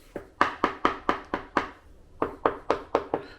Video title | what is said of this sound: Problem Tile Installation World wide, ITALY included. | if you tap on these tiles they're all Hollow they're all loose